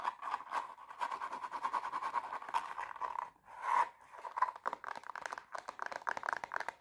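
Long painted nails rapidly scratch and tap a hollow, empty silver glitter-covered pump with a black plastic sole and heel, held in hand. The sound is a dense run of dry, crackly scratches and quick, light clicks centred in the midrange, pausing briefly around three and a half seconds before turning into faster, more separated tapping.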